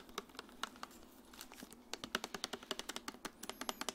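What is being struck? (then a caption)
Plastic water bottle, partly filled. A medium clear plastic Dasani water bottle with a green cap, hollow and partly filled with water, is held in the hand and tapped on its body with long nails while the cap area is touched. Quiet, quick, bright clicks start sparse and then come in a fast, steady run toward the end. Each tap dies away almost at once, with little low end.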